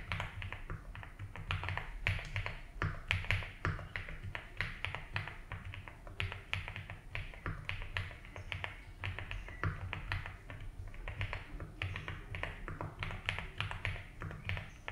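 Fingertips type steadily on a 75% mechanical keyboard with ABS keycaps in a light blue plastic case, producing a dense stream of short, clacky key taps with bright upper mids. A constant low rumble and a faint steady high tone sit beneath the typing.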